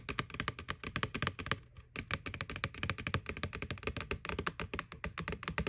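Fingernails tap quickly on the side wall of a white, hollow plastic McDonald's Boo Bucket Halloween pail. The result is a rapid, uneven stream of short, dry clicks with a hollow low thump under each, and a brief lull near the two-second mark. Each tap stops almost at once, with bright clicky edges.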